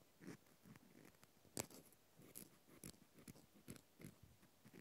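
A small white plastic clothespin with a metal spring, held in the hand, is scratched and tapped with a cotton swab. About ten quiet, dry taps and scratchy clicks come at an irregular pace, each with a short bright edge and almost no ring, over a soft low rustle.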